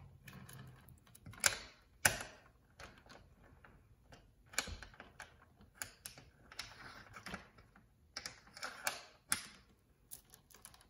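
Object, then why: Metal door chain lock. A small metal security chain lock on a painted door, with a dark metal link chain and a metal slide track and knob, is jiggled by fingers, then the knob is slid and rattled along the track. Irregular, bright metallic clinks and ticks sound in short bursts, with two sharper clacks near the start.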